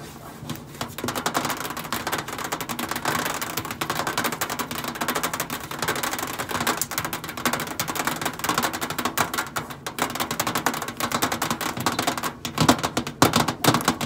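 Long acrylic nails tap quickly on the flat stainless steel side panel of a hollow microwave. The result is a dense, steady stream of sharp, bright clicks with very little ring. A few louder taps stand out near the end.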